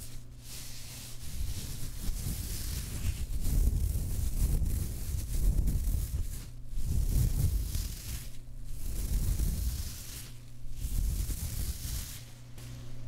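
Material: Nothing is struck.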